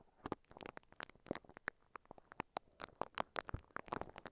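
The bristles of a pink silicone scalp massager, held in both hands, brush and scratch across a microphone covered in clear crinkly plastic wrap. The result is a quiet, rapid run of short, dry crinkling and scratching bursts with bright tops and no ring-out between them.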